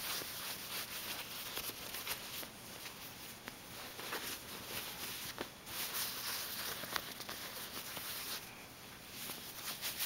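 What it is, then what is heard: Velvet fabric bag being scratched. Fingertips rub and scratch across the ribbed surface of a soft, medium-sized, hollow black velvet or corduroy-textured bag. The result is a steady, bright, scratchy rustle with little low end, broken by occasional sharp little ticks and swells as the strokes change.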